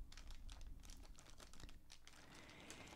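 A clear, thin plastic bag filled with many small bottle caps, full and knotted at the top, rests on a dark table while both hands press it and tap it with the fingertips. The plastic crinkles softly as the caps click against each other in quick, closely spaced taps, with a low rumble underneath throughout.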